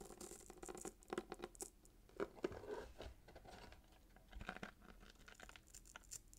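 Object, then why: Paper-wrapped cardboard box with ribbon. Short fingernails scratch the gold glitter ribbon and red paper near the bow of a small paper-wrapped cardboard gift box. Quiet, dry scratching and crinkling come in uneven bursts of brief rasps with no ring, the loudest strokes clustering around the middle of the clip.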